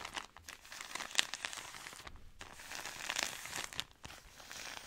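A soft plastic-film product pack is handled and squeezed with long nails, giving bright, dry crinkling with little low end, centered around 2.8 kHz. The rustling runs almost continuously, with a sharp crackle near 1.2 seconds and brief quieter gaps around 2.2 and 4 seconds.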